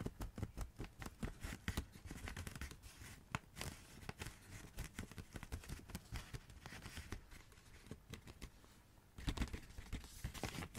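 A rolled tube of Christmas wrapping paper held in the hands is tapped and scratched with long red nails. Quick, crisp taps and papery scratching run throughout over a hollow, low thump, with the tapping growing louder near the end.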